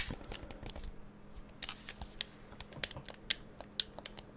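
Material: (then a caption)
Plastic. Fingertips tap and click on the buttons and shell of a hollow black hand-held plastic gamepad held in both hands near the microphone. About fourteen short, bright, dry clicks land at an irregular pace over a faint steady low hum, with softer taps in between.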